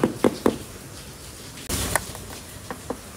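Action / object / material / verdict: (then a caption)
knock / plastic scooter body panel / plastic / none. Three quick, dull, hollow knocks land on the plastic body panel of a Honda Stylo 160 scooter. They are followed by a brief burst of broadband noise and a few fainter taps. The panel is plastic, in contrast to the Vespa Sprint S, whose body uses more metal plate.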